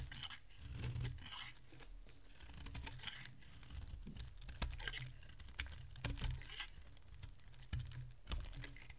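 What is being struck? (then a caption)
Bar of soap cut with a metal blade. A metal utility blade carves chunks from a solid oval bar of dry yellow soap held in the hand, giving crisp, crunchy scraping and cracking cuts with bright, brief transients. The cuts come in an irregular run over a steady low rumble, with a few sharper snaps standing out.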